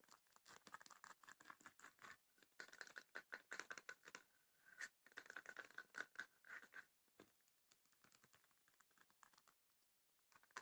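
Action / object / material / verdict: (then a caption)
scrape / small wooden chest with woven rattan panels / wood, rattan / none. A small closed, hollow wooden chest with woven rattan panels is tapped and scratched across its woven lid with long nails, then gripped and scratched along the front with the fingers. The sound is a quick, uneven run of dry, brittle scratches and rattly taps, strongest in a bright mid-high band, with no low end and no ring. The clip opens dense and busy and ends with sparser, quieter scratching.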